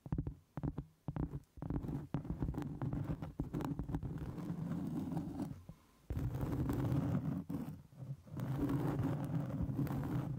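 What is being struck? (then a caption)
Cork trivet board. Long, pointed acrylic nails tap and scratch the top of a large, round, flat, solid cork trivet held over a microphone. Quick, uneven taps give way to a dense, muffled, low-pitched rustling scrape, with a brief pause just before the six-second mark.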